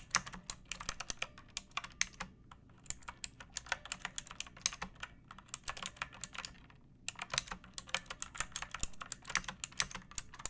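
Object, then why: Plastic mechanical keyboard. Fingertips with long nails type on a second pink plastic mechanical keyboard with rounded keycaps, a metal top strip and a hollow case. The result is a steady run of quick, bright, clacky key taps, with short pauses at about 2.5 and 7 seconds.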